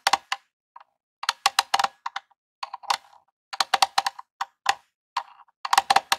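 A long rhinestone fingernail taps across the front face and controller ports of a small grey hollow Nintendo plastic game console. The taps come in quick irregular bursts of sharp, dry, bright clicks with a hollow tone around 785 Hz. Each one dies almost instantly, with no low-end thump.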